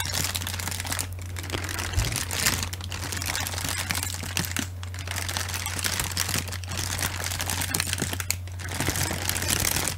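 A large sheet of clear plastic bubble or air-pillow packaging wrap is held in both hands and crinkled and squeezed with the fingers. It makes a continuous, bright crinkling and crackling with dense small pops, over a steady low hum.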